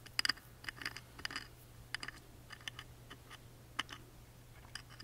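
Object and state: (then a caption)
Engraved wooden music box lid. A wooden toothpick taps and scratches along the engraved relief of the thin, laser-engraved wooden lid of a tiny music box. Quiet, crisp, bright clicks with very short decay are scattered irregularly, mixed with soft scratchy strokes, over a faint steady low hum.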